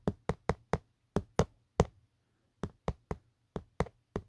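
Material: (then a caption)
Plastic. A fingertip taps and knocks on the hollow, textured hard plastic back of an empty black Otterbox phone case. Thirteen short, dry, low knocks with almost no ring come in an uneven run of seven, then after a brief pause six more.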